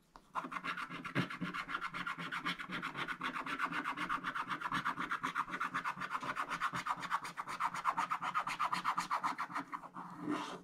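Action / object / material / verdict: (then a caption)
scrape / scratch-art paper, wax-coated card scraped with a wooden stick / wax-coated card / none. A wooden stick scratches away the black coating of a scratch-art page, a black wax-coated card, in rapid repeated strokes at about four per second. The steady dry raspy scraping centres around 1 kHz with some bright grit. It ends in a brief, brighter swipe.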